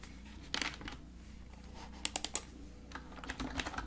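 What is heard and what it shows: Fingertips type on a full-size black plastic computer keyboard with a hollow casing, lying flat on a desk. Quiet, bright plastic key taps come in short bursts, with a cluster of sharper clicks in the middle. Each tap dies away almost at once over a faint steady low hum.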